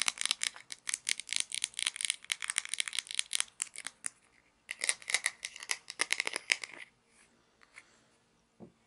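Long nails tap and scratch the grey wheel of a small plastic toy pizza cutter with a red handle while the wheel is turned. Quick, bright, dry clicks and scratches come in two dense runs, broken by a short pause. The sound then thins to a few faint scrapes and ends with one soft, lower knock.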